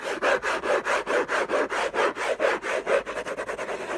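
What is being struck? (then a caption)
Paper-covered cardboard box. Fingertips and short nails scratch the lid of a long, rectangular, closed orange Hermès gift box of textured-paper-covered cardboard, contents unknown, lying on a fluffy blanket. About 18 quick, raspy back-and-forth strokes follow in an uneven rhythm, with a dry papery scrape centered in the midrange and a slightly bright edge. The strokes grow shorter and faster near the end.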